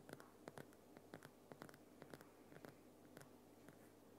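Fingers and nails tap and scratch the front and sides of a Himalayan rock salt lamp, a large solid lump of glowing pink rock salt. About fifteen short, dry, bright clicks land at an irregular pace, with soft scratching between them over a quiet, steady low hum.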